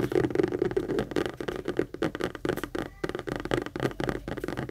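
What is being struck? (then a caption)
Structured saffiano leather handbag. Long acrylic nails rapidly tap and scratch the panels and handle area of a medium pink Kate Spade structured saffiano leather handbag, which is hollow and being held up and turned. The result is a dense, steady stream of short, dry, muted clicks and scuffs that fade instantly, with a hollow mid-toned body and little brightness.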